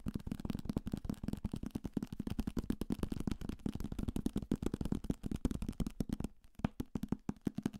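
A thick paperback copy of *Salem's Lot*, a solid paper block with a card cover, is held in the hand and tapped aggressively with fingertips and nails on the cover and page edges. The result is a fast, steady stream of dull, papery thuds, low and centred near 200 Hz, each dying away almost instantly. There is a brief lull just past the six-second mark before the tapping picks up again.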